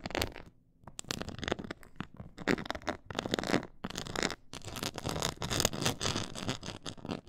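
Long acrylic nails on both hands scratch and tap across a black glossy faux-leather board with a raised diamond quilted texture. Dense, crackly scratching with quick taps spreads from low rumble up to bright hiss, with a brief quiet gap near the start. The bursts are short and dry, with almost no ring.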